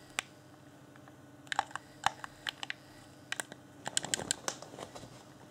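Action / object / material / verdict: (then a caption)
tap / plastic game controller / plastic / none. A fingertip clicks the buttons of a hand-sized, hollow, transparent plastic Xbox One Afterglow game controller lit with a blue LED. A series of sharp, dry, bright plastic clicks comes in irregular bursts, each one cut off almost instantly over a quiet background.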